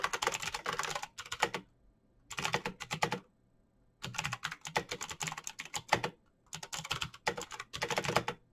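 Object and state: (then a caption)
Plastic mechanical keyboard. Both hands type fast with their fingertips on a backlit plastic Razer BlackWidow mechanical keyboard with clicky green switches, resting on a desk. Rapid, sharp, bright clicks come in four bursts separated by short silent pauses. Each keystroke cuts off almost instantly.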